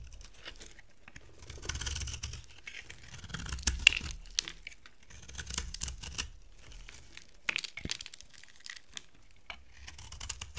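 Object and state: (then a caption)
Dry bar soap being carved. A box cutter blade scrapes and carves flakes off the surface of a solid, dry, brown-gold soap bar with a gold coating, held in the hand. Crisp, bright scraping and crackling come in uneven bursts, with short sharp clicks and brief quiet gaps between strokes.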